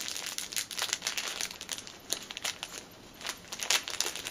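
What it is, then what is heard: Plastic packet crinkled. A small, flat, clear plastic packet with a dark item inside lies on a table and is crinkled and scratched with fingertips and nails. The result is dense, bright, dry crinkling and crackling in quick bursts, with almost no low end and a brief quieter stretch near the three-second mark.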